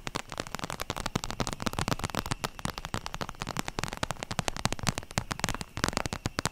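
Long nails tap rapidly across the plastic surface of a holographic vinyl zip makeup pouch held horizontally over the mic. The taps are dense, sharp and crackly, with a low thump under each one and a bright click on top, and each dies away almost instantly.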